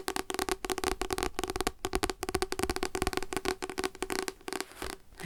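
Fingers tap rapidly and continuously on the cover of a paper devotional book, *Light to My Path*. The dense run of short, dry taps has a hollow, papery tone with a steady low-mid resonance and a little bright crispness. The taps barely ring after each strike.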